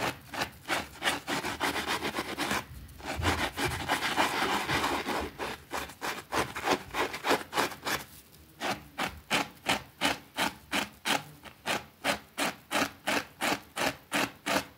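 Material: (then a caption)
Fabric. A white plastic brush scrubs a small, thin, soapy green fabric rug lying on a concrete floor. Quick back-and-forth strokes make a bright, bristly rasping, about three per second. The strokes briefly blur into a continuous wet rush before settling back into an even rhythm.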